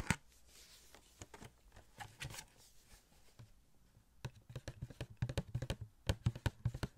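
A small, hollow cardboard Star-Lord Funko Pop box with a clear plastic window and the figure inside is tapped with fingertips and nails. Soft, scattered taps in the first half give way after about four seconds to quicker, crisper, irregular taps. Each one is a short, dull, hollow knock with a bright click on top that dies away almost at once.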